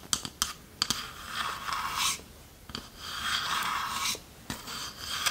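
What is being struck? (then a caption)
Small varnished wooden chest. Long nails tap and scratch the front and lid of a small, hollow, varnished wooden chest with metal corner fittings and a latch, held in the hands. Sharp, dry taps are scattered between longer, bright, hissing scratch strokes that rise and fade. The overall level stays quiet and close, with almost no low end.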